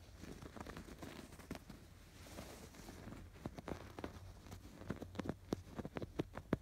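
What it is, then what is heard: Yarn-embroidered canvas pillow. Fingertips and short nails scratch along the stitched lines of raised blue and yellow yarn embroidery on a soft stuffed pillow with a canvas cover. Quiet, irregular rustling scratches give way to sharper, drier ticks that grow more frequent toward the end, over a low steady hum.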